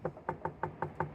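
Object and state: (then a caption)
Normal skull percussion note, no cracked-pot resonance. Seven short, dull knocks from tapping on the parietal or frontal prominence of a human skull during a Macewen's sign test, listened to on the opposite side by ear or stethoscope. Each tap is a soft, low-pitched thud that dies away almost at once. This is the normal skull percussion note, with none of the cracked-pot resonance that would mean the sutures are separating from raised intracranial pressure.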